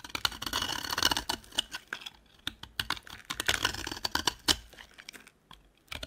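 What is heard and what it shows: A metal utility knife blade shaves and scrapes flakes off a solid rectangular yellow dry soap bar with foil wrapping on its sides, held in the hand. The cuts make rapid, dry, crisp scratching and crunching clicks, bright and high with almost no low end. The clicks come in dense bursts separated by brief quiet gaps.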